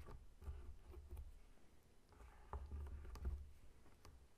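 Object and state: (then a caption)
Whole pineapple. Short nails scratch and fingertips tap the scaly rind of a whole, solid pineapple lying on a table. Quiet, soft scratching and patting run throughout, with about four dull, low tapping thumps standing out over the rustling texture.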